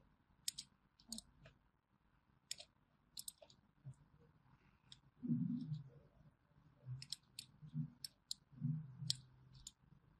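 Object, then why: Bar of hand soap cut with a thin metal blade. A small thin metal blade scores crosshatch lines into a solid orange bar of hand soap gripped in the hand, scratching and cutting. Crisp, bright clicks and ticks come in quick clusters, with soft, low scraping drags in between. The close, quiet sound ends each stroke sharply with almost no ring.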